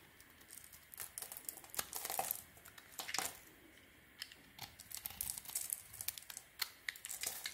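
A solid, cream-colored, palm-sized bar of soap, held in one hand, is shaved and scraped with a thin metal blade held in the other hand, which has a bandaged finger. Soap curls and crumbs fall off. Quiet, bright, crisp scraping and crackling comes in short, uneven bursts with brief pauses, with almost no low end.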